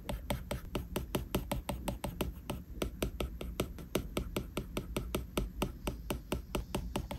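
A plastic stylus tip taps and scratches quick, small strokes on a flat glass iPad screen. About 35 sharp, dry clicks follow one another in a steady, brisk rhythm, each dying out at once, with faint scratching between them over a low, steady hum.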